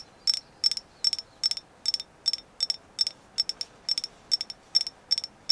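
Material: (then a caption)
Agate. Repeated tapping on a carved agate moon goddess figure, confirmed as genuine agate. The taps come in quick clusters of two or three sharp, bright clicks with almost no ring and no low-end body, repeating at an even pace throughout.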